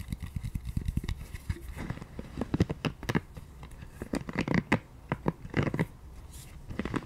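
Long nails scratch and tap a small pink scalp massager brush made of soft, solid silicone with flexible bristles. The result is a quick, irregular run of dull, low, muffled taps with almost no ring, mixed with soft crackly scratching as the nails drag across the bristles.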